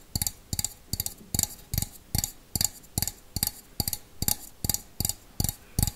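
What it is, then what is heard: Stainless steel bowl. A small, empty stainless steel bowl is held close and tapped on the outside with fingernails in a slow, steady rhythm, giving sixteen crisp taps. Each tap has a bright metallic click that dies away almost at once, over a low thump.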